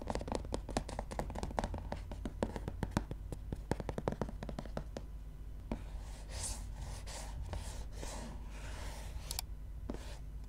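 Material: Paper.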